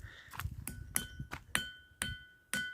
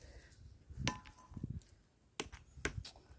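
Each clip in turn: First: ringing stone slab. Second: ordinary stone, dull normal sound.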